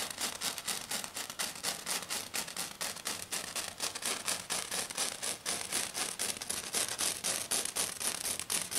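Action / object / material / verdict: scrape / glitter foam sheet / glitter foam / none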